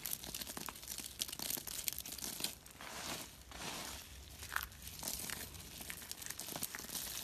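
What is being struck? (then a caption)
Soap flakes. Both hands rub and crush a pile of small, solid, pale-yellow dry soap flakes on a rubber mat with fingertips and thumbs. The result is dense, crisp, bright crunching and crinkling made of many quick dry crackles, with a softer rustling stretch in the middle before the sharper crunches return.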